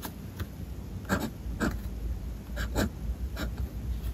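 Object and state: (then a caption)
Fountain pen scratching on notebook paper. A fountain pen's metal nib scratches across a white paper page of a spiral-bound sketchbook on a desk while writing lowercase letters. Quiet, dry scratching strokes come in short bursts over a low, steady background rumble, with brief bright rasps as the nib drags.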